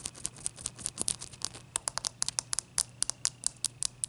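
Long fingernails tap and scratch a single melting, clear ice cube held in the fingers, recorded close-up. About two dozen sharp, bright clicks and short scrapes follow one another quickly, each dying away almost instantly over a soft hiss, with very little low end.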